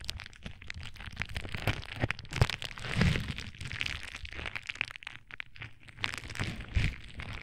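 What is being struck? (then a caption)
Plastic bubble wrap sheet. A sheet of clear plastic bubble wrap is held against a microphone and crinkled and squeezed with fingertips. It makes a dense stream of crackling and crinkling with sharp snaps, over a heavy low rumble from the contact with the mic.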